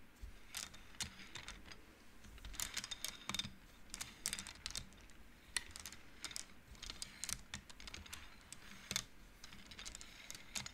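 Fingertips and long nails push painted wooden beads along the metal rods of an upright wooden-frame abacus, making the beads clack together. Quick, dry, bright clicks come in irregular bursts and scattered single taps over a faint low background, each dying away almost instantly.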